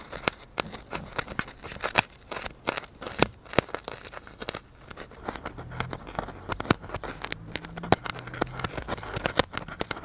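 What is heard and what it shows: A solid white polystyrene foam block is held and tilted near the microphone while its surface is poked and scratched with a needle and fingers. Many quick, dry crunches and creaks crackle out, with sharp clicks spreading into bright highs. Under the second half runs a faint low hum.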